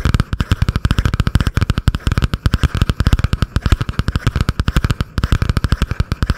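Long painted nails rapidly tap and scratch a butterfly-print spiral notebook with a cardboard cover, held above the microphone. About fifty quick, dry taps land in a steady rush over six seconds. Each is a deep, boomy thump with almost no ring, over a faint scratchy texture.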